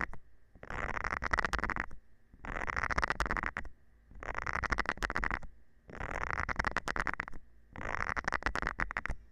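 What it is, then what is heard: Silicone scrubber pad. A thin metal rod scratches across the nubs of a round green silicone scrubber pad held by hand. Five separate bouts of dense, rapid rasping are heard, each lasting just over a second with short quiet pauses between them. The scratching is bright and gritty over a faint low hum.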